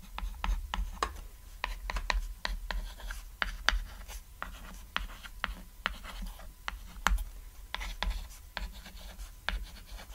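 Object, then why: Chalk on a thin flat chalkboard. White chalk writes text on a small, flat, cat-silhouette chalkboard, a thin solid board lying on red fabric. About two dozen short, crisp, scratchy strokes and taps follow one another over a low steady background hum.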